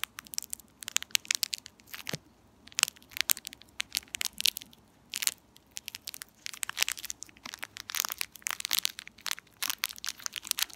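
A small, empty, purple metallized plastic candy wrapper is crumpled, pulled and crinkled with fingertips and long nails. Dense bursts of sharp, bright crackling and crinkling come in quick clusters with brief quieter gaps, each snap dying away almost instantly with almost no low end.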